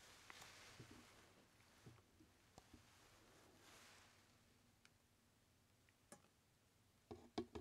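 A large, empty, hollow, white translucent plastic jar labeled "RELAX" is held in the hands and tapped with fingertips and nails. Soft, irregular, short hollow taps and light clicks sound over a quiet hiss. Louder taps cluster at the end.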